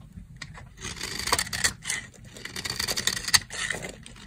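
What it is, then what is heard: Dry soap bar scraped with a blade. A box-cutter blade scrapes fine shavings from the edge of a dry, solid brown soap bar. The result is a run of dry, bright, crackly scraping strokes in uneven bursts, with a sharp scratch near the end.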